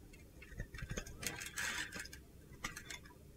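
A utility knife scores and chips a solid green-blue glitter soap bar held in the palm, breaking it into crunchy small flakes. Quiet, crisp clicks and gritty scraping sound in an irregular tick-like pattern, with a denser, brighter rasp midway.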